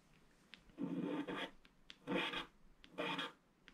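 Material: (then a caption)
Coated paper. A wooden stylus scratches a flat, black, wax-coated scratch-art sheet along the lines of a ship and water. Three sustained, dry rasping strokes sound, separated by quiet pauses with faint ticks as the tip lifts and touches down. Each stroke is a mid-range scrape with some bright edge.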